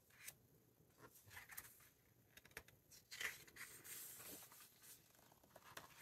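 Fingertips rub across the matte paper pages of a large open hardcover book and turn them. The result is quiet, bright, papery rustles and scrapes, with brief louder crinkles as the pages flip over a soft background hiss.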